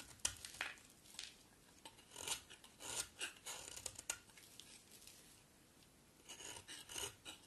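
A utility knife blade scrapes and carves a solid green bar of soap held in the hand. Quiet, bright, crisp scraping and shaving strokes come in short bursts with brief pauses between them, with almost no low end.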